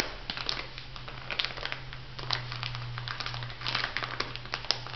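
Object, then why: Plastic bag of granules. A small, full, clear plastic bag of white bath salt granules lies flat and is pressed and rubbed with fingertips and long nails. The granules crush and the plastic crinkles in dense, bright, crackly bursts, over a steady low hum near 120 Hz.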